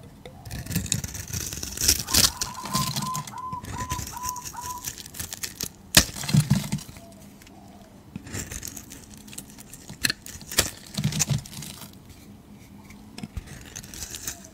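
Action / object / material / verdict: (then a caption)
scrape / bar of soap / soap / none. A flat metal blade scrapes and shaves the surface of a hand-sized solid bar of green soap held in the hand, leaving powdery shavings. Dry, bright scraping strokes come in bursts with sharp crisp snaps, over a low rumble and a faint short repeating tone near 1 kHz early on.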